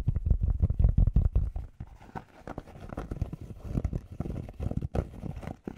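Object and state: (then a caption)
Fabric baseball cap. Fingertips tap and scratch quickly on the hollow crown of a grey cotton Penn State baseball cap with a stiff brim, held close to the mic. Rapid, uneven, deep thuds come first and loudest, then give way to quieter, dry scratching taps. The sound is muffled and bassy, with almost no bright edge.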